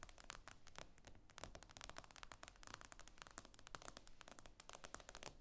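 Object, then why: Tablet with glass screen. Long acrylic nails tap and scrape across the glossy glass screen of a tablet lying flat on a table. Rapid, dense, crisp clicks and scratchy strokes run throughout, each tap short and bright with no ring, over a quiet low rumble. The result is a steady, crackly stream of quiet tapping and scraping.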